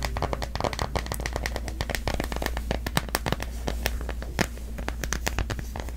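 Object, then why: Plastic phone case on a smartphone. Long nails tap and scratch the back of a smartphone in a solid, pastel cloud-print plastic case held in both hands. A rapid stream of sharp, dry clicks and scratchy brushing continues throughout, over a steady low hum.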